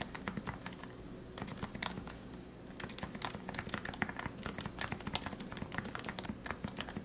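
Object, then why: Plastic keyboard keycaps. Fingertips type and tap on the keycaps of a compact, plastic, lubricated Leopold FC660C Topre keyboard with 45g switches. The result is a steady stream of soft, muted thocks centered low around 200 Hz, topped with brief bright clacks. The typing pauses briefly near the middle before resuming.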